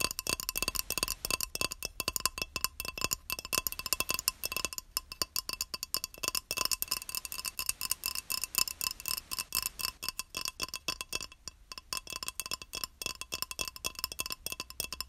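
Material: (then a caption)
Ceramic. A small, solid, square beige ceramic tile held upright in both hands is tapped rapidly and continuously with long nails. The taps come as a dense stream of sharp, bright clicks, each ringing a short tone around 1 kHz that dies almost at once, with little low end.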